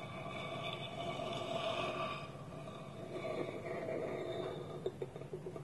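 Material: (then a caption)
Wood. Fingertips and nails tap a small, round, hollow, polished wooden bowl that sits empty, with its wooden lid held tilted against it. A steady, hollow, resonant tone with ringing overtones fills the clip, and a few short, sharp taps stand out near the end.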